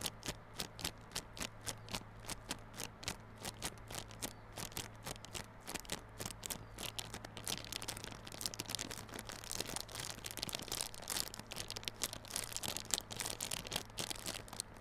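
Fingers scratch and crinkle the clear plastic wrap on a small yellow cardboard Realme Buds Classic earphone box held on its side. Quick, bright crackles and scratchy taps repeat at a steady pace, then grow denser and busier in the second half. A faint low hum runs underneath throughout.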